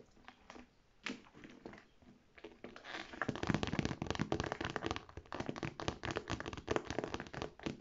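Medium-length dark red painted fingernails and fingertips scratch and tap across the front panel of a medium-sized cream structured handbag made of textured faux leather, with gold metal hardware and handles, hollow with its contents not visible. Soft, sparse scratching with a few louder taps gives way after about three seconds to fast, dense, irregular tapping and scratching. The taps are dull, short thunks with a dry, crinkly texture and no ring.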